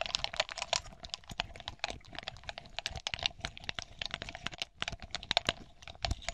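Long polished nails tap and scratch across a hand-sized cluster of small hollow smoky glass balls with green glitter leaves and a ribbon. The result is a quick, dense run of bright, clicky ticks with almost no ring, over a faint steady glassy tone near 700 Hz.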